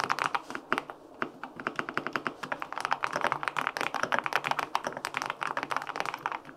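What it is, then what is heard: Aluminum mechanical keyboard with linear switches, typed on. A white-pink full-aluminum 65% mechanical keyboard with linear switches is typed on with fingertips across its plastic keycaps. A steady run of short, crisp, clacky keystrokes with a slightly deep thock sounds in quick succession, each one dying out almost instantly in a small, close space.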